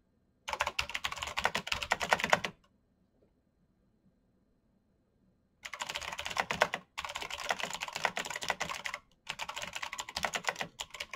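Bare fingertips type quickly across a full-size black plastic mechanical keyboard with clicky green switches, RGB backlight and a hollow case resting on a desk mat. A burst of bright, rapid clicking runs for about two seconds, then near-silence for about three seconds. Longer stretches of fast clacking follow, broken by two brief pauses, with each keystroke short and crisp.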